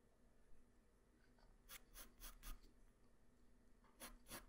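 A graphite pencil tip draws strokes across a flat white paper sheet, making short, bright scratching and rubbing bursts. The strokes come in a quick cluster, then a pause, then a final pair, over a faint steady low hum.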